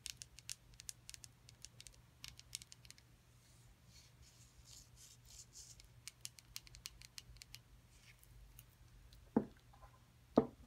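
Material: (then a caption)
Plaster. A solid, rectangular, hand-sized plaster excavation block from a dinosaur nest excavation kit is tapped and scratched with long acrylic nails, with the kit box lying nearby. Quick, dry, bright clicks and soft scratching patter continue over a faint low hum, and two louder knocks land near the end.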